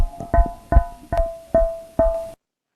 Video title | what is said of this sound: clase 2 bovino | parece que estuviera golpeando un balón de gas, efectivamente es un abomazo que está desplazado